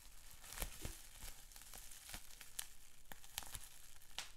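Fingertips pinch and pop a sheet of clear plastic bubble wrap with small bubbles, giving about eleven sharp, bright snaps scattered over a soft, continuous crinkling of the plastic. Each pop ends almost instantly, and the whole sound stays quiet.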